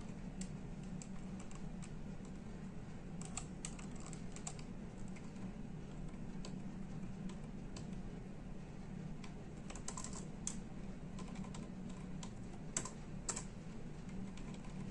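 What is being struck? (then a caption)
Plastic computer keyboard. Fingertips of both hands tap the hollow plastic keys of a full-size plastic computer keyboard in steady, continuous typing. The quiet, brisk clicks are bright and short, with a few louder keystrokes standing out over a constant low background hum.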